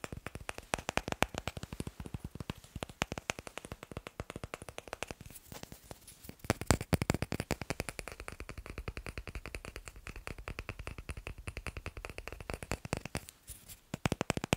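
Fast, continuous finger tapping on wooden blocks makes a dense run of short, dry knocks with quick decay. The knocks carry a low body with some bright click on top, in irregular rhythm with brief pauses near 5.5 and 13.5 seconds.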